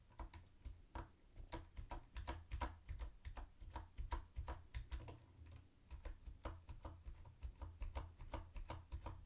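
Fingertips type quickly on a mint-green plastic typewriter-style keyboard with round white plastic keycaps and a hollow body. Rapid, irregular clicky taps ring briefly over a steady low hum.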